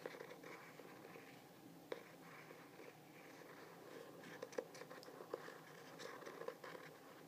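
Fingernails tap and scratch the glossy, textured Starry Night print cover of a medium hardcover journal while the solid book is held by its face. Quiet, steady scratching runs throughout, broken by sharp, short clicking taps that stop almost instantly.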